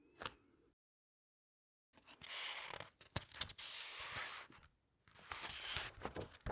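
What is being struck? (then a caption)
Hardcover book with glossy paper pages. Long red nails press the glossy paper pages of a large hardcover book and lift one to turn it. A brief tap is followed by about a second of silence, then bright, papery rustling and crinkling swishes with sharp clicks as the page is squeezed and turned. A final burst of rustling ends the clip.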